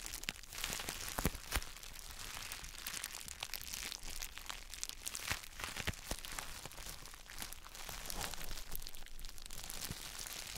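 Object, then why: Gym chalk block wrapped in plastic bubble wrap. A palm-sized, solid square block of gym chalk wrapped in plastic bubble wrap is pressed and squeezed by gloved fingertips. The result is a steady, bright crinkling and crackling, broken by sharp, short snaps and a low rumbling underneath.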